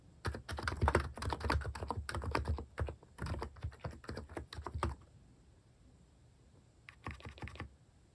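Fingers type across a mechanical keyboard with plastic keycaps, the hand over its right side, giving a rapid, uneven run of short, dry key clacks with a low thock. The typing pauses near the five-second mark, then a brief final burst of keystrokes follows near the end.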